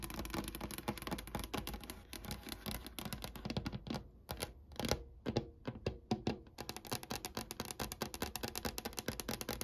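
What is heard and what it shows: Long painted nails on both hands tap a dark brown wood-grain desk surface by a window. They make rapid, dense clicking that slows to sparser, separate taps midway, then speeds up into a quick flurry again. Each tap is short and dry, with almost no ring.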